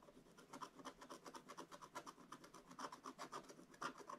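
A wooden stylus held in the fingers scratches a thin, flat page of black wax-coated rainbow scratch paper in a scratch book lying on a table. It makes a rapid, uneven series of short, dry rasping strokes, about four per second, with a scratchy tone centred around 1.4 kHz and a faint high hiss. Each stroke dies away almost at once.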